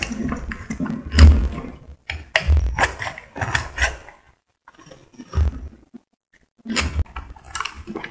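A solid pink soap bar held in the hand is shaved with a metal utility blade, and the flakes fall onto a white surface. Short bursts of dry, crumbly scraping come in uneven strokes separated by brief pauses, with a soft, low-heavy texture and faint clicky edges.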